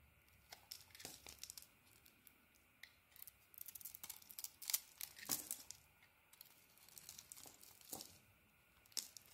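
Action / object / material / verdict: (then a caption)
scrape / bar of soap / soap / none. A solid bar of soap with a purple coating and a cream interior is held in the hand and carved with a blade. The result is a quiet series of short, crisp scraping and crackling bursts, bright and dry with almost no low end. The cuts come in uneven clusters, with the loudest strokes in the middle of the clip.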